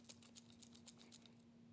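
A new Hercules corded-battery hammer drill with a plastic housing is shaken, and a loose part rattles around inside in about ten quick, bright clicking bursts over a steady low hum. The rattle is a bad sign, though its cause is unconfirmed.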